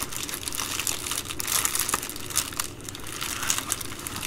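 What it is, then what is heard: Plastic bubble mailer. An empty Amazon Prime poly bubble mailer is folded and pinched along its plastic edge by hands with long nails. The result is a steady, dense crinkling and crackling, mostly bright and high, with small sharp snaps scattered throughout and a faint low rumble underneath.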